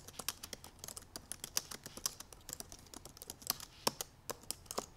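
Long purple acrylic nails and fingertips rapidly type on the black plastic keys of a silver aluminum MacBook Pro laptop. The result is a fast, dense stream of short, bright clicks and taps with almost no ring after each one. Low rumble is nearly absent.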